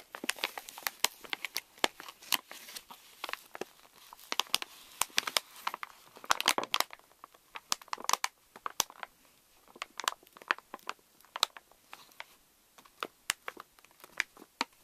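A pink Reese's candy pouch made of plastic foil laminate rests on a wooden table while hands crinkle and press it and nails scratch its front. The sound is a dense run of sharp, bright crinkles and crackles, with no low end and many short snaps that die away almost instantly.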